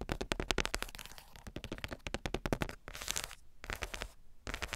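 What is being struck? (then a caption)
Wooden or wood-print board book page. Long pointed nails tap and scratch across a flat wood-grain board book page with a black spider cut-out, a small mic resting on the page. Rapid dry clicks with very short ring come in dense bursts, broken by brighter scratching passes near the end.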